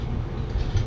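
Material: Nothing is struck.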